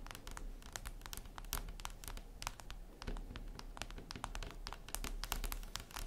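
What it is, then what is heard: Glass screen tapped with fingernails. Long red nails tap rapidly and irregularly on a flat, glossy black glass surface, likely a tablet screen. Each tap is a short, bright click that dies away quickly, heard over a steady low hum.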